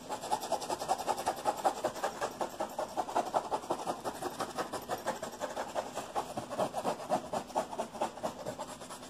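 Fingertips and nails rapidly scratch and rub a padded, neon-yellow nylon mesh-covered pocket on a vest. The result is a steady run of dry, rasping scratches with a midrange focus, a faint bright hiss above, almost no low end, and each stroke dying away almost at once.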